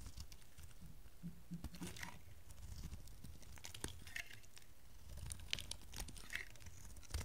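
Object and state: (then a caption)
Dry bar soap being shaved. A rectangular cream and blue bar of dry solid soap, held in the hand, is shaved into chunks with a metal utility knife blade. Quiet, dry crunching and crisp cracking snaps come with soft scraping and a low background rumble. Sharp bright clicks stand out as pieces break away.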